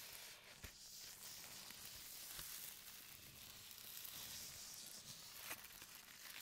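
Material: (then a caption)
Plastic. Fingertips and nails scratch and crinkle the surface of a thin, translucent printed plastic bag lying flat on a table, with microphones resting on the bag, and a corner of the bag gets bunched up. The result is a quiet, steady, bright hiss of crinkling plastic with little low end, broken by a few sharper crackles.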